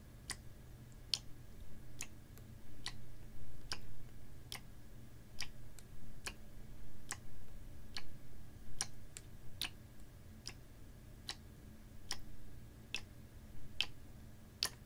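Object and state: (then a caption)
Plastic water bottle tapped with fingernails. A clear, ribbed PET water bottle, capped and about half full of water, is held horizontally and tapped with fingernails. Nineteen sharp, bright ticks land at a steady, clock-like pace over a low, soft background rumble, each click dying away almost instantly.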